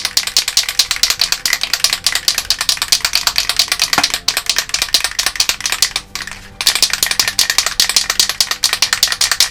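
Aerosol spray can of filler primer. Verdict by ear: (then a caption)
Loose. An aerosol can of sprayable filler primer, warmed under hot water, is shaken so its mixing ball rattles in a fast, steady run of bright clicks, with one brief pause partway through. The rattling is loose and consistent, showing the contents are mixed and the can is ready to spray.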